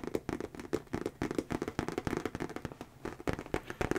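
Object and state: Leather handbag being tapped.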